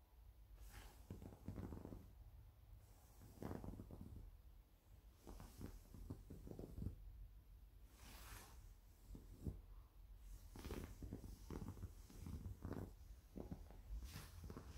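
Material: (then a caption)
Cotton. Fingertips and short nails scratch and smooth the printed back of a black Blues & Bayous Tour 2018 concert t-shirt, likely cotton, laid flat on a surface. Quiet, muffled rubbing swells come in repeated bursts, mostly low and dull, with short brighter scratchy strokes breaking through.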